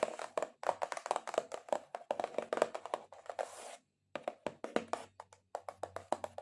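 Long acrylic nails tap aggressively and rapidly on a cardboard box, making dry, short knocks with a hollow midrange tone. Around the middle, a brief scraping rustle is followed by a moment of silence before the quick tapping resumes.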